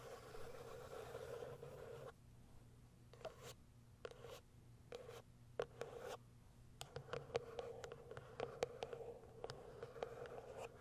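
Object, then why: Cardboard box with a plastic window. Long acrylic nails tap and scratch the top and plastic window of a small white cardboard box. Soft, dry scratching alternates with short, quiet taps that leave almost no ring, over a faint low hum.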